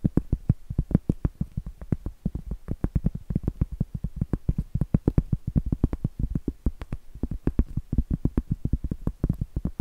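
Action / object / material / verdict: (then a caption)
tap / cork trivet / cork / none. Long acrylic nails rapidly tap and scratch the flat face of a round, solid cork trivet held upright. The result is a dense, uneven run of short, dull, low taps that die out almost instantly, with faint scratchy texture between them and little bright content.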